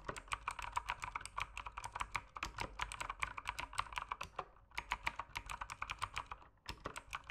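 Fingertips type steadily on the plastic keycaps of an RGB mechanical keyboard, making a rapid run of short, crisp clacks centered in the mids with bright tops. The typing pauses briefly twice, near the 4.5 and 6.6 second marks, and then resumes.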